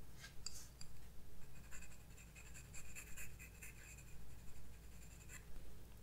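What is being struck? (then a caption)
Graphite pencil on a paper sketchbook page. A graphite pencil shades a moth drawing with short strokes on thin white drawing paper in a spiral-bound sketchbook lying flat on a wooden desk. The tip gives soft, dry, bright scratches in irregular bursts over a steady low hum.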